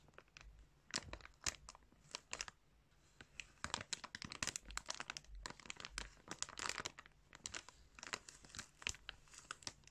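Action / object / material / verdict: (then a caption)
scrape / clear plastic bag filled with yarn / plastic / none. Fingertips press, rub and crinkle a clear plastic bag filled with yarn close to the microphone. The result is a dense run of bright, sharp crinkles and crackles that come in quick clusters, with brief quieter gaps between the busier stretches.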